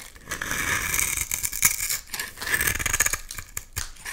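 A utility knife blade scrapes crumbly layers off a solid, hand-sized, rectangular translucent purple bar of soap. Dry, bright scraping and crackling runs in a steady series of short rasping strokes, with little low end beneath the crisp, gritty texture.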